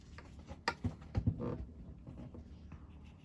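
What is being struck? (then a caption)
Metal fountain pen nib on a paper sketchbook page. A metal fountain pen nib is drawn and scratched across the page of an open cream paper sketchbook lying flat on a grey table, inking a drawing in short hatching strokes. Soft, dry, papery scratches rise out of a quiet background, with five sharper strokes standing out in the middle. Each stroke cuts off almost at once.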